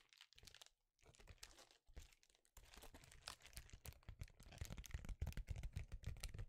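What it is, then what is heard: Foil bubble insulation sheet. A small, flexible sheet of reflective foil bubble insulation is held in both hands and tapped and scratched with fingertips and nails, with occasional crinkling. Quiet, rapid, irregular taps, dry scratches and crisp crinkles sit over soft low thumps, with brief pauses early on. After the first few seconds the sound grows louder and busier.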